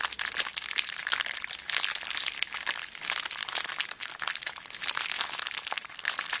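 A small clear plastic zip bag full of beads is squeezed with thumbs and long black nails. This produces a dense, continuous crinkling with rapid, bright crackles and the faint rattle of shifting beads, with almost no low end.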